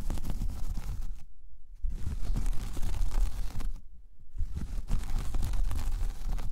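Long painted fingernails of one hand scratch closely across a large, flat, solid, round braided jute/straw coaster. The result is dense, crackly scratching and rustling with a heavy low rumble, broken by two short quiet gaps.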